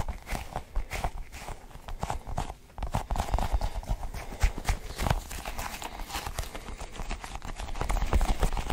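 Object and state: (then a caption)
Sticky rubber ball cluster toy. A cluster of colored sticky rubbery balls is held in one hand while fingers squeeze and pull at them. Irregular soft, sticky tacky pops and low thumps repeat quickly throughout, with most energy low and only faint brightness.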